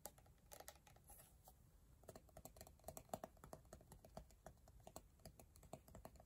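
Long painted nails tap and scratch quickly on an empty, hollow, clear plastic scrub jar with an orange plastic lid, moving across both the lid and the jar body. The result is a soft, rapid run of short, dry clicks with a faint hollow tone around 645 Hz, mixed with light scratching. Each tap dies away almost instantly.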